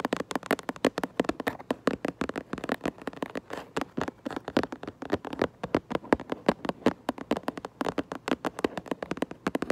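Long nails tap rapidly on the back of a cardboard Minecraft Lego box held upright. The result is a fast, uneven string of short, dry taps with a hollow midrange tone, very little deep bass or bright top, and almost no ring after each tap.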